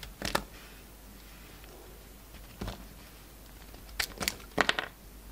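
A utility knife blade cuts and scrapes shavings off a solid peach and white bar of soap held in the hand. Short, crisp, bright scraping bursts come in scattered clusters separated by quiet pauses, each stopping dry with no ring.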